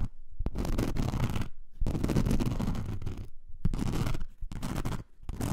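Long nails scratch the gritty surface of a thin, flexible blue-pink glitter foam craft sheet, about A4 size, lying on fur. Dense, rasping scratches come in sustained bursts separated by short pauses, with a deep, rumbling body and a bright gritty edge.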